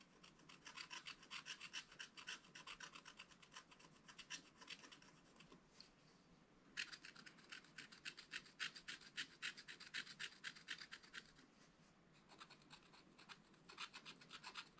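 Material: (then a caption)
Coated paper. A wooden stylus scratches leaves and branches into the black-coated card of a flat, spiral-bound scratch-art pad. Quick, bright, raspy strokes come in dense bursts, with short quieter pauses just before the 7-second mark and around 12 seconds.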